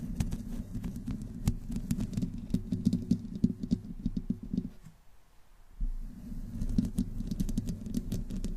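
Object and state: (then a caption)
Metal mesh microphone grille being scratched. Long fingernails of one hand scratch slowly across the upper metal mesh grille of a black microphone, producing a close, low, rumbling scrape dotted with sharp, bright clicks and ticks. The scratching drops to near silence for about a second, then resumes with the same crackling texture.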